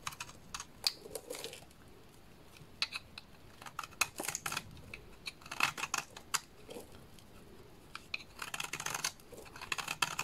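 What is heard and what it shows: A small dark blade scrapes a solid purple bar of soap, shaving off fine powder and curls. Bursts of crisp, bright, dry scraping and ticking come in clusters with quiet gaps between them, each stroke short with almost no ring.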